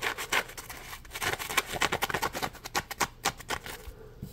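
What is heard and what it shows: Fingertips rub and scratch the ridged surface of a small, solid, yellow textured polymer foam scrub sponge, a Scrub Daddy Puppy, held in both hands. The result is a quick, uneven series of short, dry rasping scratches, bright and papery around 1 kHz, with almost no low end and no ring after each stroke.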